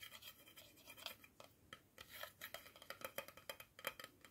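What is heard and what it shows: A round, hollow black plastic screw-top lid from a tea jar, with a white liner inside, is held in one hand and tapped on its top and inner liner with fingertips and nails. About two dozen quick, irregular taps and light scratches come through as dry, bright clicks with almost no low end and no ring after each hit.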